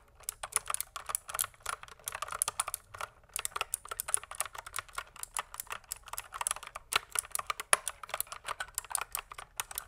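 Fingertips type continuously on a pink plastic mechanical keyboard, producing a steady, rapid stream of short, crisp key clicks with bright, high-pitched tops and almost no low end. There is no pause except a brief gap near the third second.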